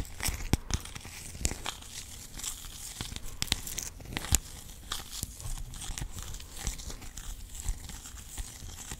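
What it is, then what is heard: Clear plastic rhinestone organizer box. A clear plastic compartment organizer box of rhinestones is held in both hands while fingernails tap and scratch across its ridged lid. Sharp, dry clicks punctuate a steady, bright, raspy scratching with a faint low rumble underneath, and each tap dies away almost instantly.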